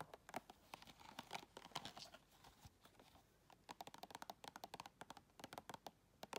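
Long red nails tap rapidly on the lid and side wall of a round clear plastic tub filled with white items. The result is quick, bright, dry clicks with a light crinkly texture, coming in fast bursts separated by brief quieter pauses.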